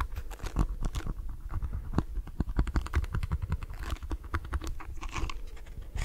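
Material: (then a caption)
Plastic. Fingernails scratch across the plastic bristles and back of a lilac plastic detangling hairbrush held upright. The result is a rapid, uneven stream of dry, crackly scratches and clicks that stop almost instantly, with a heavy low thump under brighter ticks.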